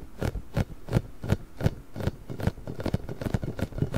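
A large pink, hollow, inflated rubber spiky ball with nubs is gripped, scratched and rubbed with nails and fingertips. This produces a steady run of soft, low, muffled rubbery thumps and scratchy rubs, roughly three per second, each short and dry with a faint bright edge.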